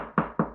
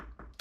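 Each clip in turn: First: Three quick knuckle knocks, low and boomy with a papery top, dying at once: plasterboard hollow behind. Second: Two short, flat taps that die almost at once: glued plasterboard sounding solid against the wall.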